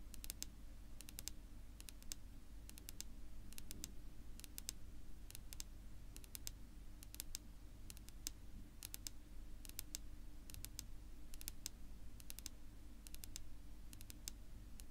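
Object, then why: Wooden tabletop. Long natural pink-polished fingernails on one hand tap rapidly on a flat, solid, dark wood-grain tabletop. Quick bursts of short, sharp, bright clicks come in small clusters, each dying away at once, over a steady low hum.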